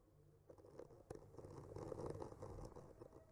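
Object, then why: Painted wooden panel scraped with a bamboo skewer tip. The tip of a bamboo skewer traces and scratches along the painted branches of trees on a solid wood panel. It makes quiet, dry scratching and crackling with a few soft ticks, mostly low and mid in tone. The scraping grows a little fuller and denser through the middle of the clip.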